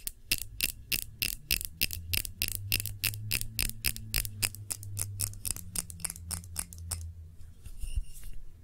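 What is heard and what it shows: Long nails tap the base and scratch the sides of a clear glass tumbler holding red wax candle. Rapid, bright glassy ticks repeat about three times per second for roughly seven seconds, with a steady low hum beneath them. The tapping then stops, leaving a faint high ring and scratching.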